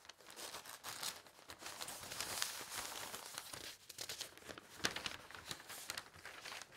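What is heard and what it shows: Fingertips press and smooth the thin pages of an open broadsheet newsprint newspaper lying on a table, then lift one page. The result is a steady, bright, papery crinkling and rustling made of many quick crackles, with almost no low end and a sharper rustle burst near the end.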